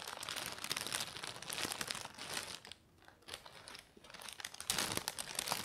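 Thin lilac tissue paper, folded into a loose bundle on a beige fabric surface, is pressed, crumpled and unfolded by fingertips with medium-length nails. Dense, bright crinkling runs throughout, briefly quieting near the middle before swelling louder again toward the end.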